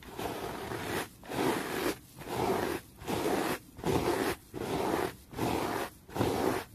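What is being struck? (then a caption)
Terry cloth towel. A yellow brush or sponge tool held in the fingers is rubbed fast and hard over a folded grey-green textured terry cloth towel. Eight steady, separate bursts of broadband scratchy brushing come at a fairly even pace, each with a short silent gap. The rasping is fullest in the low mids with a bright, airy top.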